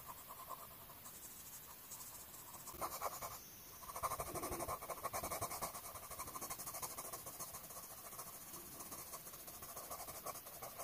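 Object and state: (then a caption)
Colored pencil scratching on a paper page. An orange colored pencil held in the fingers makes short, rapid scratching strokes on the page of an open paper coloring book lying flat, coloring a flower. The soft, bright scratching runs in a quick, uneven rhythm throughout, growing a little louder and denser for a few seconds partway through before settling back.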